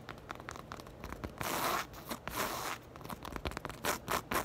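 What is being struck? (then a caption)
Knit fabric purse. Long acrylic nails scratch and rake across a soft, hollow black crochet or knit fabric purse. Quick, dry scratchy ticks alternate with longer rough, bright raking bursts over the knit texture, with little low end.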